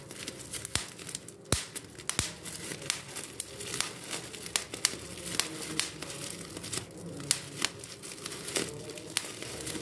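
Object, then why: Plastic bubble wrap sheet. A large, clear plastic bubble wrap sheet is held in both hands while its air-filled bubbles are popped between the fingertips. Sharp, bright pops sound at irregular intervals over a steady crinkling of the plastic.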